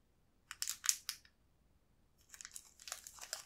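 A small, green, transparent plastic wrapper holding a single crepe cookie stick is squeezed and rotated in both hands. It gives a burst of sharp, bright crinkles and crunches, a short pause, then a softer, denser stretch of crinkling. The sound is high and thin, with almost no low end.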